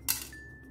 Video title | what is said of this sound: १५ मिनटात बनवा क्रिस्पी शेंगदाणा चिक्की - Shengdana Chikki Recipe - Peanut Bar - Lonavala Chikki | असं वाजलं म्हणजे आपलं परफेक्ट झाला पाक